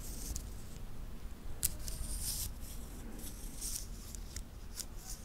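A small titanium link watch band is held and worked between fingertips close to the recorder, its metal links clicking and rubbing against each other. Short, bright ticks and brief scraping bursts come through over a steady low rumble, with one sharper click standing out near the middle.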